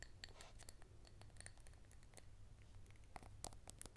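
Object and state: Glass cup filled with dry lentils.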